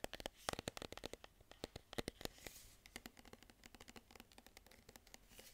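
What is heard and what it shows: Fingernails scratch and tap the green printed paper label of a medium cylindrical metal tin can held in both hands. About 35 quick, dry clicks and scratches follow in an irregular run, each dying away almost instantly, with a bright papery rasp and a faint tinny tone around 720 Hz.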